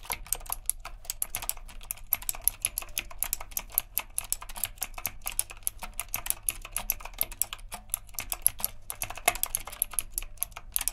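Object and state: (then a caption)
Mechanical keyboard being typed on. Both hands type steadily with their fingertips on a retro typewriter-style mechanical keyboard with round plastic keycaps and a metal frame. A rapid, continuous run of sharp, bright clacks fills the clip, each one dying away almost instantly, over a low, steady hum.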